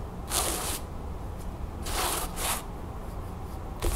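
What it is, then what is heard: Cotton canvas bag, scratched. Long nails and fingertips scratch and rub across a flat cream cotton canvas bag or pillowcase with a blue crown print, lying on a wooden table. Three soft, hollow bursts of bright, hissy scratching are heard over a low, steady rumble.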